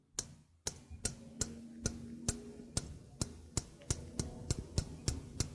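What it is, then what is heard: Stainless steel sink strainer. A small hollow stainless steel sink strainer is held up while its rim and mesh are tapped with fingertips and nails. Fifteen sharp, bright metallic ticks land at a steady pace, each with a faint, short low ring underneath.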